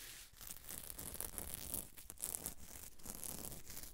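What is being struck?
Sequined fabric dress.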